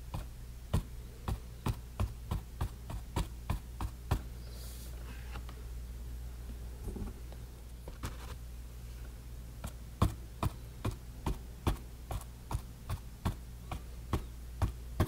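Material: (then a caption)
Canvas. A bristle paint brush dabs and stipples repeatedly on textured orange, red and green paint covering a small, thick, rectangular painted canvas panel lying flat on a table. Sharp, dry taps come in two quick runs, 28 in all, separated by a quiet stretch in the middle when the brush is lifted away. A steady low hum sits underneath throughout.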